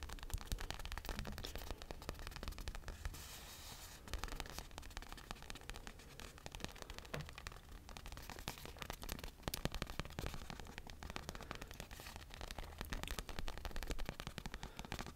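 A small red and blue stuffed toy punching bag with a glossy vinyl cover is scratched and tapped on its side panel with fingertips and nails close to the mic. The result is a steady, dense stream of crackly scratches and quick, dull taps over a heavy low rumble, with brief louder bursts throughout.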